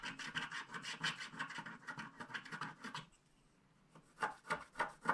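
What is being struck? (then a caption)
Coated paper scratch card scraped with a wooden stylus. A wooden stylus scratches the remaining black edge strip of a flat black-coated paper scratch card held in one hand. Quick, dry rasping strokes run steadily for about three seconds, centred near 1 kHz with a bright, papery edge. After a brief quiet pause, a few slower, louder separate scrapes follow.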